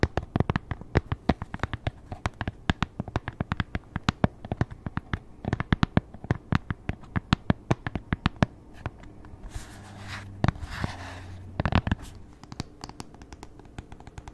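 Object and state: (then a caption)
Tablet in keyboard folio case. Long nails tap and scratch on a tablet inside a thin, solid grey polyurethane keyboard folio case, striking both the case surface and the glass screen. Quick, sharp, dry clicks come in a dense irregular stream, with a softer scratching passage around ten to twelve seconds.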